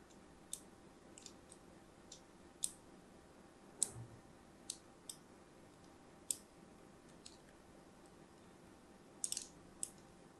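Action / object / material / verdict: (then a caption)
scrape / bar of soap / soap / none. A thin blade scores lines into the surface of a solid, palm-sized orange-and-white striped soap bar held in the hand. About a dozen short, crisp, bright clicks and scratchy cuts come at irregular intervals over a quiet, low background hiss. Each stroke snaps off quickly with almost no ring.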